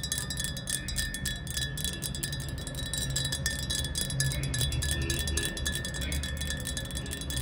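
Long acrylic nails rapidly tap the wall of a tall, clear, hollow glass jar with a small amount of water at the bottom, standing upright on tile. The quick, irregular taps make a bright, chime-like ringing with sustained tones that blur into a steady shimmer over a low background hum.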